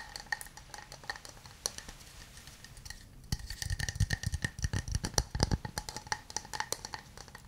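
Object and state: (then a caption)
Wooden cup. A hollow, hand-sized wooden cup is held in both hands and tapped rapidly, first with fingernails and then with fingertips. Early on the taps are light, dry clicks with a bright, recurring ring near 2 kHz. After about three seconds they become louder, fuller knocks with hollow low thumps under the clicks, each dying away almost instantly.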